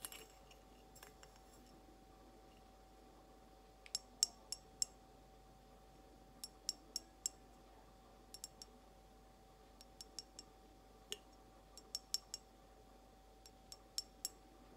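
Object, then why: Glass mason jar. An empty, hollow clear glass mason jar with embossed lettering, held sideways, is tapped slowly with long almond-shaped nails. There are 22 short, bright clicks with a high glassy ring, falling in small clusters over a quiet background with a faint steady hum.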